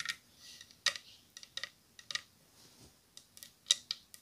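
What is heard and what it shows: A wooden bowl and spoon are tapped together for ASMR. About ten short, dry, bright clicks come at an irregular pace, with quiet gaps between them. Each tap is crisp and high-pitched and dies away almost at once.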